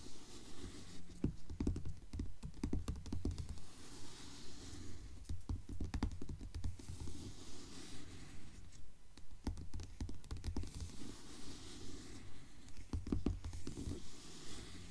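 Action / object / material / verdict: tap / hardcover book with glossy paper dust jacket / paper, cardboard / none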